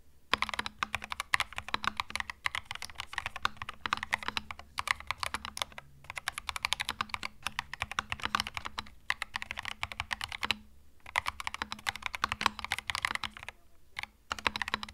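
Fingertips type steadily on a compact white mechanical keyboard with plastic keycaps resting on a felt mat, giving a fast run of sharp, bright plastic clicks and clacks. The typing pauses briefly now and then before resuming, with a faint steady low hum underneath.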